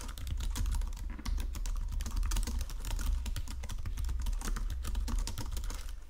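Fingertips with painted nails type steadily across a full-size white and silver plastic Logitech keyboard with low-profile keys resting on a marble desk. A dense, continuous stream of quick, bright key clicks runs throughout, over a steady low hum.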